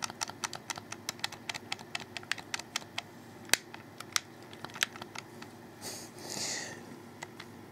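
A black, hollow, wired plastic Xbox 360 controller has its triggers clicked with fingertips, then its thumbsticks and face buttons pressed with the thumbs. The result is a quick run of dry, bright plastic clicks and taps that die away instantly. Near the end, a brief soft swell of high rustling noise comes in before a few last clicks.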